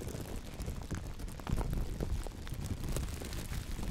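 A large, thin, empty, clear plastic bag is scrunched and cupped in black-gloved hands close to the microphone, producing a continuous, dense crinkling and crackling. The sound is dominated by a soft low rumble with faint bright crackles on top, and it grows a little louder from about halfway through.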